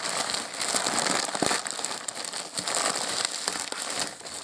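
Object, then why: Polyethylene mailer bag. A white polyethylene postal mailer bag, hollow and holding a padded package, is held and squeezed by both hands with the fingertips, crinkling and rubbing its thin plastic film. The result is a steady, bright, dense crackle with almost no low end, swelling in spots with a few sharper crinkles and easing slightly toward the end.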